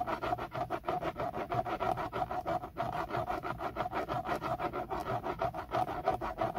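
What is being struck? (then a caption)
Textured plastic steering wheel airbag cover. Fingertips scratch and rub around the logo on a BMW steering wheel's centre airbag cover, which is textured black plastic and hollow-backed. The result is a steady run of quick, dry, raspy strokes, about three per second, with a hollow midrange tone near 750 Hz. The cover has little low end and each stroke dies away almost at once.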